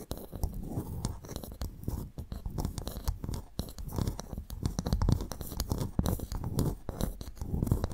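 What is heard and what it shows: Two large, empty, hollow freshwater mussel or clam shell halves of the same kind, made of ridged brown shell, stand upright between two microphones and are scratched and tapped with the long painted nails of both hands. The result is a dense, continuous run of dry scratching and quick clicky taps, heavy in the low end, with each tap dying out almost instantly.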